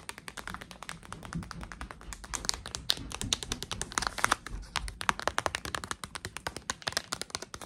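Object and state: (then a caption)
Plastic foil blind bag. Long acrylic nails tap rapidly on a small, soft, printed plastic foil Tsum Tsum blind bag filled with a plush, giving dozens of sharp, dry, bright clicks with a faint crinkle. Each tap cuts off almost instantly, centered around 1.1 kHz with little low end, and the taps run as a steady, quick patter throughout.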